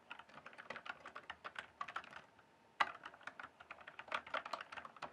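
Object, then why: Mechanical keyboard with plastic keycaps. Fingertips type and tap quickly on the plastic keycaps of a full-size RGB-backlit mechanical gaming keyboard, producing a rapid run of short, bright plastic clacks. The typing pauses briefly near the middle, resumes with a sharper, louder stroke, and continues in quick, uneven bursts.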